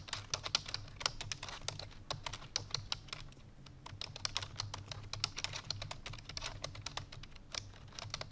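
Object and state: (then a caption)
Plastic computer keyboard. Rapid, bright typing taps come from fingertips with long painted nails pressing the keys of a full-size black plastic computer keyboard resting on a white fur rug. The sharp, clicky strikes die away almost instantly, over a faint, steady low hum.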